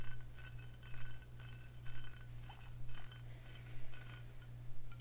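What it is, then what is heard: Glass whisky bottle. Long fingernails tap and scratch a faceted Crown Royal glass whisky bottle filled with amber liquid. Bright, short clicks and scratchy taps come in loose clusters, carrying faint glassy ringing tones. A steady low hum runs underneath.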